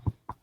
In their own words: I don't know if you can hear that knocking on this wood table.